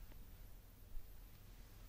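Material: Nothing is struck.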